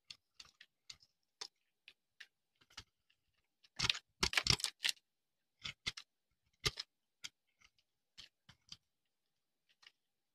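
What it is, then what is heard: Dry soap bar. A metal knife blade scrapes a solid, rounded, pale-yellow bar of dry soap held in the hand, shaving off brittle flakes. Short, dry, bright crackling scrapes come in quick separate bursts, with a louder, denser run in the middle before they thin out again.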